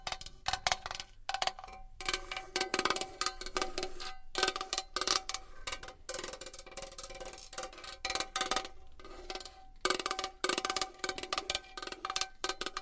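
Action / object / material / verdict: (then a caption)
tap / metal box / metal / none. A metal box is tapped and scratched with fingernails in quick, uneven bursts. Each tap gives a short, bright metallic tick with a steady ring around 740 Hz, mixed with hissy scratching between the bursts.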